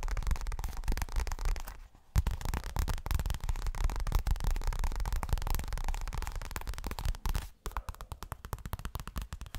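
A medium-sized, hollow pink leopard-print zippered toilet bag, probably of coated fabric, is held upright and tapped quickly with fingertips and nails. The taps are dull, low, muffled thuds in a fast, irregular stream, with short pauses near 2 seconds and 7.5 seconds, after which they thin into sparser taps.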